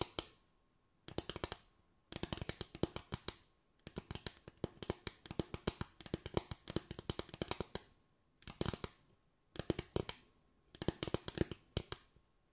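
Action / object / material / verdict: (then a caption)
tap / bamboo tray / bamboo / none. Fingers tap a bamboo tray in quick bursts of dry, clicky taps separated by brief silences. Each tap is short and bright with almost no ring, and the bursts vary between fast, dense rolls and sparser patters.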